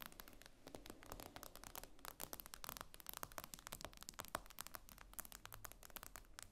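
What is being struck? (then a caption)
Glass tablet screen. Fingernails on both hands tap and scratch across the glass screen of a tablet lying flat, making a quiet, rapid stream of sharp, dry clicks with brief scratchy strokes between them. Each tap is bright and dies away almost instantly, with no ring.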